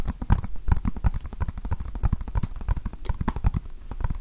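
A small hollow plastic Nintendo Switch game case with a paper cover insert is held in the hands and tapped with fingertips and nails. A rapid, uneven stream of short, dry taps and clicks follows, each with a low hollow knock under a bright tick, with slightly louder taps scattered through.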